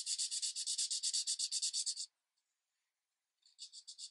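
A green marker tip is rubbed in quick, even strokes along the edge of a tree on a thin paper coloring page resting on a light pad. It gives a fast run of short, bright, scratchy swishes for about two seconds, a pause, then a few more strokes.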